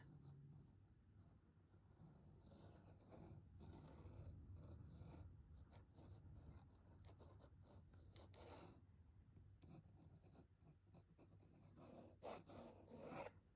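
A black ballpoint pen scribbles continuous lines across the white paper page of a large spiral-bound sketchbook lying flat on a wooden board. The pen tip produces a quiet, steady scratching and rubbing over a low rumble, with sharper, brighter scrapes near the end.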